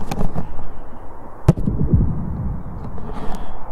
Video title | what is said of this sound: How I Built My Polytunnel - 0007-2018 | It's like a drum. And that has never been tightened since the day I put it on. It stayed nice and tight.